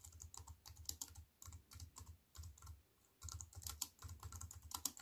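Fingertips with long white-painted nails type on a slim wireless keyboard with a silver aluminium frame and black plastic chiclet keys, resting on a wooden table. The quiet, quick, bright key clicks come in runs separated by brief pauses, each tap backed by a soft low thump. Every click dies away almost instantly.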